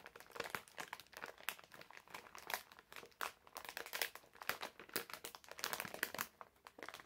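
A medium printed plastic-film bag full of wrapped candies is held in both hands while fingertips squeeze and crinkle it. The result is a steady stream of dense, crisp crackles and crinkles with short sharp peaks, bright and papery with almost no low end.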